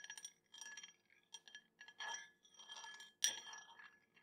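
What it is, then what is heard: Drinking glass tapped with a spoon. A metal spoon taps a drinking glass in a quick series of bright, high-pitched clinks with short, ringing decays. The loudest tap comes near the end.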